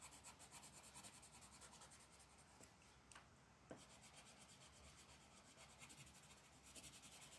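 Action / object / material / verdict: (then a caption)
scrape / colored pencil on a paper sheet over a wooden table / paper / none. A lavender colored pencil rubs and shades a flat paper mandala coloring page resting on a wooden table, with long black nails near the surface. A steady, bright scratchy rasp of pencil on paper runs throughout in rhythmic strokes, pausing briefly around the middle before resuming.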